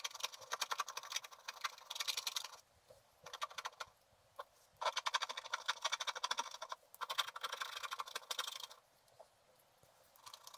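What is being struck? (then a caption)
Wax-coated scratch art paper scratched with a wooden stylus. A wooden stylus scratches short strokes across a flat sheet of black wax-coated scratch art paper. Dense, bright, rapid scratching comes in bursts, separated by several quiet pauses. The sound is dry and papery, with no low end.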